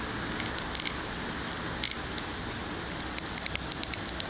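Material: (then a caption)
Glass. A large glass candle jar filled with solid wax is held close to the mic and tapped on its glass side with fingernails. Sharp, bright, glassy clicks come in irregular bursts over a steady low hiss, each dying away almost instantly.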